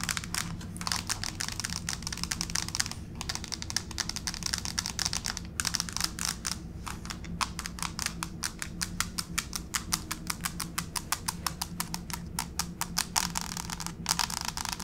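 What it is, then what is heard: Laminate floor tapped with long nails. Long pink fake nails tap on a solid grey wood-grain laminate plank floor with the fingertips pointed down, then scurry across it toward the camera. Rapid, sharp, bright clicks come in dense runs with a few brief pauses over a steady low background hum.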